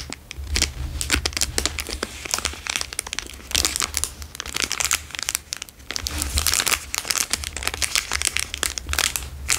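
The same plastic Dairy Milk chocolate bar wrapper is squeezed and crinkled with fingers and thumbs. Dense, bright crackling and crinkling come in overlapping bursts that swell and ease throughout, over a faint steady low hum.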